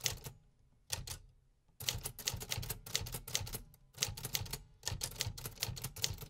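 Fingertips type on the metal keys of a vintage 1950s manual typewriter, producing quick bursts of bright, sharp mechanical clacks over a low thump. A short typed burst is followed by a brief pause, then typing resumes in dense, steady runs with only short gaps between them.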